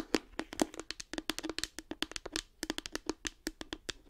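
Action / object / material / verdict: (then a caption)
tap / small hard plastic case / plastic / none. Long acrylic nails tap and scratch a light blue, round, hand-sized hollow hard plastic case with a cartoon face, held in front of the microphone. About 29 quick, crisp clicks sound over 4 seconds, each with a hollow knock around 310 Hz and bright upper edges. Every tap dies away almost instantly.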